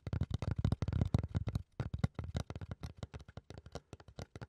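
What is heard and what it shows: Fingertips and nails scratch and rub a flat, solid brown fiberboard or thick cardboard panel held upright. The result is a quick, uneven run of short, dry scratching bursts that are dull and low, with no ring between strokes.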